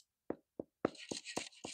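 A freshly baked sourdough loaf, baked about 25 minutes at 450°F and still hot, is flipped over and knocked on its bottom crust, giving six short, dull, hollow-sounding thuds. From the third knock onward, a steady high-pitched hiss runs underneath. The hollow sound shows the bread is baked through and done.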